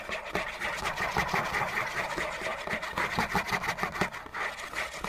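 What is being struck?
Cardboard tissue box.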